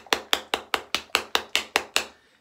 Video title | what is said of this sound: A thank you Shave! | you can hear it you can hear it sloshing around